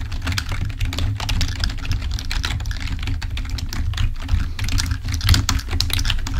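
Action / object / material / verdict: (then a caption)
tap / plastic membrane computer keyboard / plastic / none. Fingertips of both hands type on a full-size black plastic membrane keyboard resting on a table, producing a dense run of quick, short, bright taps and clicks. A steady low hum sits underneath the typing throughout.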